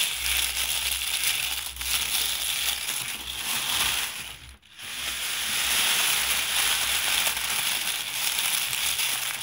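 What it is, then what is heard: Dried rose petals being crushed. Hands with long painted nails gather handfuls of dark dried rose petals from a loose pile on a white surface, crushing and rubbing them between the fingers. This produces a steady, dense, bright crackling and rustling with almost no low end, broken by a brief near-silent pause midway before the crunching resumes.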